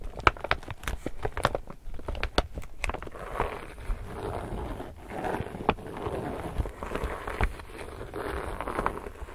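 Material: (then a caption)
Polypropylene. Long nails tap and scratch the printed surface of an empty, medium-sized, glossy illustrated laminated polypropylene reusable tote bag. Quick, sharp clicking taps come first, then give way to softer, crinkly scratching and rustling with occasional louder taps, all over a low rumble.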